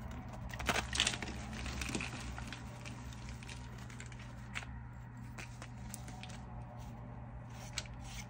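A pile of solid white reformed gym chalk blocks and crumbs on a yellow surface is squeezed and crushed in both bare hands with long nails, crumbling into powder. Dry, bright crackling and crunching bursts are loudest in the first second, then soften into quieter crumbling with occasional sharp cracks over a steady low hum.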